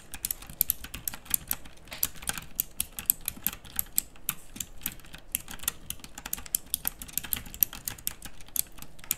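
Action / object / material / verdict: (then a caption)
tap / plastic mechanical keyboard with round keycaps / plastic / none. A backlit plastic mechanical typewriter-style keyboard with round dark-pink plastic keycaps is typed on continuously by fingertips with long nails. Sharp, bright clicks come in a rapid, uneven stream of dozens of keystrokes over a low, soft rumble, each click dying away almost instantly.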